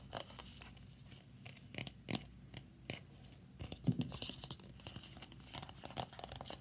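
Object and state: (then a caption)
Plastic folder. A thin, flat, red Five Star glossy plastic folder held upright against the chest is tapped and scratched with long nails. The result is quiet, dry scratching and crinkly rustling broken by sharp taps, with brief bursts near 2, 2.9 and 4 seconds.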